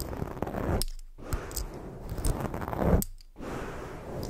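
Fingers rub a black foam microphone windscreen while long fake nails scratch it, making a dense, low, rumbling rustle with soft crackly scratches. The sound cuts to near-silence twice as the contact pauses.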